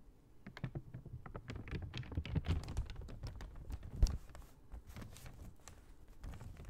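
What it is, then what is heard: Paper shopping bag. Long nails tap quickly across the side of a large, empty brown kraft paper shopping bag held upright. The taps are soft, dull and papery, mostly low in tone with brief bright clicks, and each dies away almost at once. One sharper tap stands out near the four-second mark.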